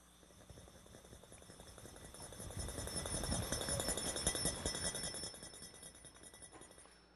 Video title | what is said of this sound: The Wonders of Physics #22 | I'll try to shake it while I'm doing that. And you'll hear the sound come back.